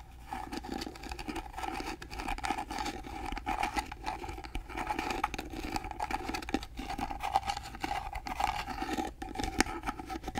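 Fingernails scratch and tap across the carved surface of a small, hollow, rectangular gold-painted carved wooden box held flat in both hands. A steady, dry scratching runs throughout, broken by quick, short taps that give a hollow woody tone. A faint low hum sits underneath.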